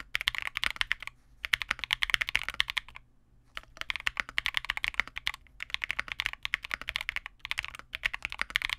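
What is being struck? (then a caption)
Mechanical keyboard with plastic keycaps. A custom Vega65 65% mechanical keyboard with re-lubed Cobalt switches, white plastic keycaps and a dark case is typed on continuously with the fingertips of both hands. Bursts of rapid, short, bright keystroke clacks come with brief pauses near 1.3, 3.2 and 5.5 seconds. Each stroke is crisp and dies away almost instantly, with little low end.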